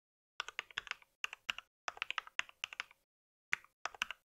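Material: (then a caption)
Plastic. Fingertips type on a compact white mechanical keyboard with plastic keycaps, producing quick bursts of bright, crisp key clicks separated by short pauses. Each tap is sharp and dies almost instantly, with its energy centered around 2 kHz and no low-end thump.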